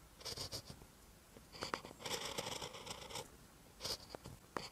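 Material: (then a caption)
Paper. A ballpoint pen tip writes on a lined paper notebook page, making short, dry scratching strokes. Bursts of bright scraping come and go with quiet pauses between them, including one longer continuous stretch of writing in the middle.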